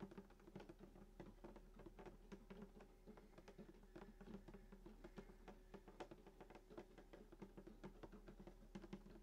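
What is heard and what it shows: Fingertips tap quickly and steadily on the wooden top of a hollow sunburst acoustic guitar lying flat, striking below the bridge and near the soundhole. Each soft, quiet tap gives a short, hollow knock with a low-mid body tone that fades almost at once, with little brightness.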